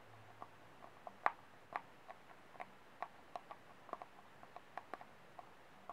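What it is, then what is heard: Plastic cup tapped with fingernails. Fingernails tap the flat base of a small, empty, white disposable plastic cup held upside down, its hollow body giving each tap a light, dry, hollow click. About sixteen quick, irregularly spaced taps sound, each short and mid-pitched with a little bright edge, and no ring after it. The taps are quiet and close.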